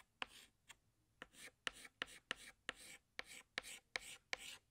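A hand scratches a green chalk stick across a large, flat black chalkboard in short strokes while drawing leaves. Twelve quiet strokes sound at an uneven pace, each opening with a sharp tap of the chalk followed by a bright, scratchy rasp that stops quickly.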